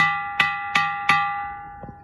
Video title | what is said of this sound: Stone sounding like a bell.. | బండే, ఇది బండే.